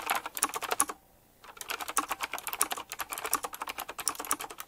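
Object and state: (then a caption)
Mechanical keyboard with round plastic keycaps being typed on. A retro typewriter-style mechanical keyboard with round plastic keycaps set in chrome rings is typed on quickly with the fingertips. A rapid stream of sharp, bright clicky keystrokes is heard, with a brief pause of about half a second near the one-second mark before the fast typing resumes.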